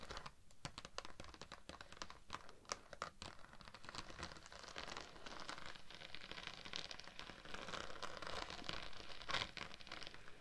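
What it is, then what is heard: Thin embossed vinyl sheet. A thin, flexible, iridescent pink-teal holographic vinyl mermaid-scale sheet with an embossed scale texture, draped over a dummy-head microphone, is scratched and tapped with long acrylic nails of both hands. The result is a dense, bright, crinkly scratching and rustling texture with quick, sharp taps scattered throughout. It grows fuller and louder toward the end, peaking with a stronger tap near the close.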